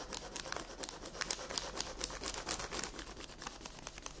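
Long red nails rest on a flat sheet of paper colored with pink pencil lying on a table, tapping with their tips while the hand stays in place. A quick, uneven run of quiet, crisp, bright clicks follows, each dying away almost instantly.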